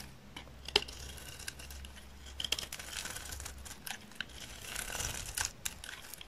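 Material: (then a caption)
Soap. A solid, dry green olive oil soap bar held in the hand is shaved with a utility knife blade, peeling off layered flakes. Quiet, bright scraping and crisp crinkling sounds come in short bursts with sharp clicks throughout, over a low steady hum.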